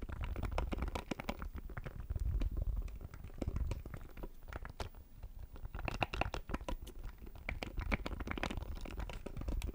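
Fingernails tap and scratch a small, hollow black plastic audio interface held over the microphone. The result is a dense, fast run of dry clicks and scratchy taps with a heavy, close low-end thump and almost no ring after each hit.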